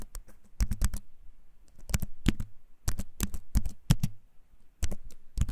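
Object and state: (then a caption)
Keyboard with wooden frame and plastic keys. Fingertips type on a compact keyboard with a wooden frame and plastic keys, held up close. Bursts of quick, clicky taps come in clusters with short pauses between. Each tap is a short, dull click with a bright edge.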